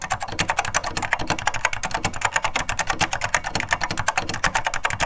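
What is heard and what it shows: Two hands type steadily with their fingertips on a beige plastic vintage SORD M101 full-size mechanical keyboard with linear Mitsumi switches, keys bottoming out, recorded from close above. A fast, continuous run of short, bright clacks, each with a low thump underneath, dies away almost instantly.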